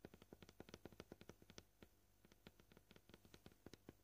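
Short painted fingernails of both hands tap quickly on a flat, solid, scratched white plastic cutting board, producing about 27 crisp, bright clicks with a hollow body. A dense run of taps is followed by a brief lull near the middle, then the tapping picks up again at a varied pace.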